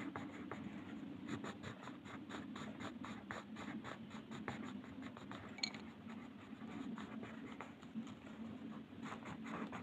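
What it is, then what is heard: Colored pencil shading on paper. A purple wooden colored pencil, held in the fingers, scratches and shades across a flat sheet of white paper printed with a mandala, lying on a table. Quiet, dry scratching comes in rapid back-and-forth strokes with bright, high hiss over a steady low hum.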